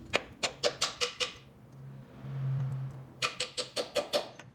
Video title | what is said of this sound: Tentando consertar VAZAMENTO de óleo que o mecânico não conseguiu! | そこに当たると、木の音が変化するので、取り付けが完了したことがわかります